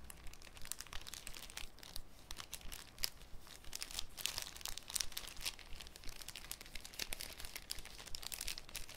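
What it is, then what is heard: Cellophane sheet crinkling. A folded sheet of thin, clear cellophane is crinkled and opened with the fingertips. The result is a quiet, continuous stream of bright, crisp crackles with sharper snaps scattered throughout, over a faint low rumble.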